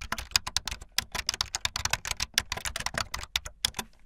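Fingertips with long light-blue nails type fast on a full-size plastic keyboard with white, blue and yellow keycaps and a blue backlit frame. About 26 quick, bright, clicky keystrokes come in a rapid, uneven stream, each one short and dry with almost no ring.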